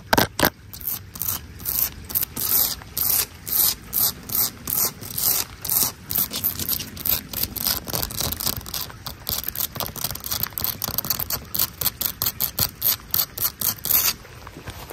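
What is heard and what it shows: Long nails scratch and tap a solid, tan textured stucco exterior wall in a rapid run of short bursts. Each stroke gives a bright, gritty scrape that stops almost at once.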